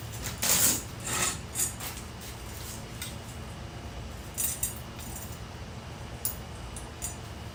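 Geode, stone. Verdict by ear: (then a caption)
Hollow. A geode from Illinois, Indiana or Kentucky is handled and tapped before being cracked with a soil pipe cutter, giving about eight bright, short clinks and knocks over a low background hum. It sounds hollow, and cracking it open reveals a cavity lined with blue and white crystals.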